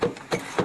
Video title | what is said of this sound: Arche Noah 2/6 DOKU NEU 2012 | see it's wood okay it's Hollow listen to that sound